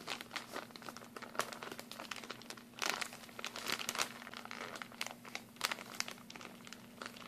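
A medium-size, partly full clear plastic packaging bag of mini glue sticks is crinkled and squeezed by hand. It makes a dense run of bright, crackling crinkles with sharper louder snaps scattered throughout, over a faint steady low hum.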